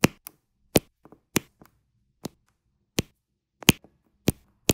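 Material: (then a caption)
Resin. A diamond painting pen with a metal tip presses small solid square resin drills in white and teal onto a flat adhesive diamond painting canvas, with a purple drill tray nearby. The sound is a series of sharp, bright taps and clicks at irregular intervals, some louder and some softer. Each tap ends almost instantly with no ring.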